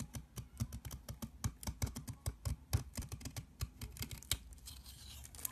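A long, solid mint-green soap bar is held in the hand while a box cutter blade scrapes crumbly shavings off it. Rapid, dry, crisp scraping strokes repeat with a low thump under each one. The strokes thin into a soft, hissing rustle near the end.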